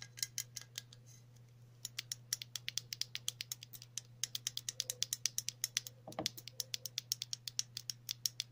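Long natural nails tap and scratch a green, yellow and red printed metal aerosol spray can, a hollow cylinder. Dozens of quick, bright, clicky taps come in rapid succession, with a soft scratch mid-clip and a steady low hum underneath.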